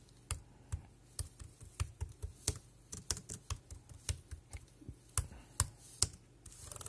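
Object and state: Plastic computer keyboard being typed on.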